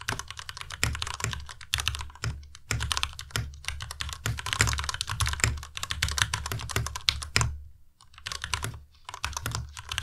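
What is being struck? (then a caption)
Mechanical keyboard with plastic keycaps. Both hands type with their fingertips on a white Ducky Miya Pro tenkeyless mechanical keyboard with plastic keycaps. Rapid, bright, clacky keystrokes with a low, thuddy body come in quick bursts, with short pauses around 2 and 8 seconds. Each keystroke stops almost instantly with no ring.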